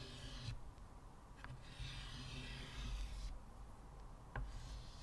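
Fingers scratch white chalk strokes across a flat, solid, square black chalkboard in a wooden frame and rub its surface with the fingertips. Soft, bright scratching hisses come and go over a low, steady rumble, with two brief sharp ticks standing out.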